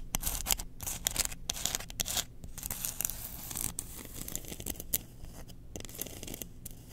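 Long nails scratch the bowl and handle of a long, solid, engraved bamboo spoon held in the hands. The result is a dense run of quick, bright scratching strokes with a soft low rumble underneath, each stroke dying out almost at once.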